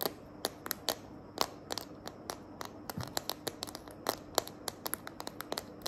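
Long nails tap and scratch the back of a smartphone held in a small green glitter plastic case. About 28 short, sharp, bright clicks sound in an irregular rhythm over a quiet background, with light scratching between them. Each tap dies away almost at once.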